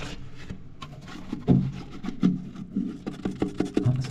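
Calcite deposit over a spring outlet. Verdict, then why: Hollow. Knocks on a calcite deposit blocking a spring outlet in a small cave, thought to be hollow with a possible void behind it. A series of short, dull, low knocks rings only briefly, with the strongest ones standing out around the middle and end. The deposit sounds hollow, but nothing is opened to check.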